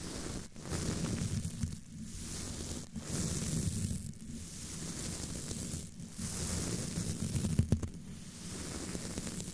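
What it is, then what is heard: Metal mesh microphone grille being brushed. A curved black tool with a small tip brushes and rubs across the top of a hollow, roughly fist-sized, domed black metal wire-mesh grille on a condenser microphone. The result is a series of continuous scratchy, rumbling strokes, heavy in the low end with a hissy high wash, separated by brief dips between passes.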